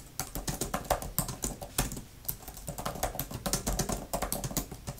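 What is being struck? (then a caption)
Plastic laptop keyboard cover. Long-nailed fingertips type fast on a grey, thin plastic laptop type-cover keyboard with flat plastic keys. The result is a rapid, uneven run of short, dry clicks and taps with bright edges and a soft low thump beneath, each dying away almost at once.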